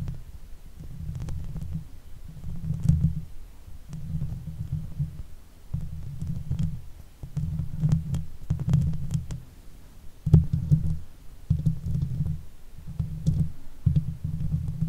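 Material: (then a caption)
Metal mesh. Long nails on both hands scratch the top and sides of the hollow metal mesh grille on a Blue Yeti microphone head. The result is a deep, throbbing, low rumble centered near 156 Hz, with soft, faint clicks, coming in repeated bursts of scratching with short pauses between them.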